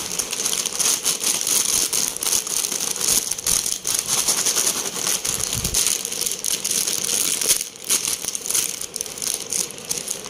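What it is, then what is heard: Foil-lined plastic chip bag being crumpled. Fingertips crumple, squeeze and tear open a blue Lay's family-pack crisp bag made of foil-lined plastic and filled with chips, while a second yellow bag lies nearby untouched. The result is a dense, continuous, bright crackling and crinkling with almost no low end, rising and falling in loudness throughout.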